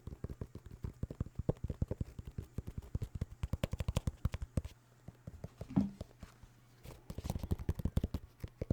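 Fingers tap rapidly on New Balance sneakers made of synthetic leather with a rubber sole, producing a steady stream of short, dull, low-pitched taps. The tapping slows and quiets briefly partway through, with one louder knock, then picks back up into fast, dense taps until the end.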